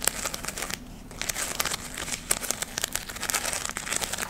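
A round ornament of glittery gold, red and brown artificial fabric leaves is held close to the mic and scratched and squeezed with long nails. It makes a dense, bright crinkling and scratchy crackle, with a short quieter lull near the start before the rustling picks up again.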